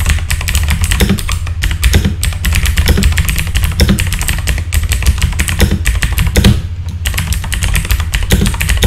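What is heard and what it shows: Fingertips type steadily on a full-size backlit mechanical keyboard with plastic keycaps, producing a dense run of quick, clacky keystrokes with a deep, thumpy low end and short, dry decays. The typing continues almost without pause, easing briefly just before the seventh second and then resuming at the same pace.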